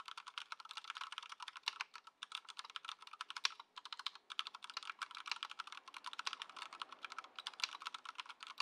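Fingertips of both hands type continuously on a compact white Ducky One 2 SF mechanical keyboard with plastic keycaps, in its stock "before" setup, resting on a dark mat on a wooden desk. The result is a rapid, steady stream of sharp, bright, clacky keystrokes with almost no low end. Each click dies away almost instantly.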